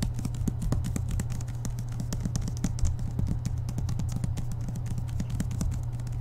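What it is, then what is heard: Paperback book. Fingertips tap quickly on the glossy card cover of a thick Harry Potter paperback lying flat on a table, the book a solid block of paper. The rapid taps land as short, dull, low thuds with faint bright clicks over a steady low hum, each dying away almost instantly.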